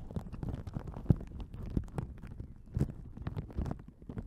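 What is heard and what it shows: A thin, soft yellow paper napkin is held open close to the mic and rubbed and crinkled with fingertips and long nails. The result is a dense run of soft, low, muffled rustles and crackles with faint brighter crinkles on top. A few louder crunches stand out from the rest.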